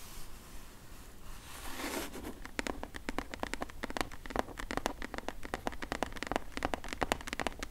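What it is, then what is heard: Cardboard box tapped with fingernails. Long acrylic nails tap on the flat side panel of a medium, closed, hollow corrugated cardboard shipping box. A soft scratchy rustle opens the clip, then a quick, uneven run of sharp, bright clicking taps with a dull hollow knock continues to the end.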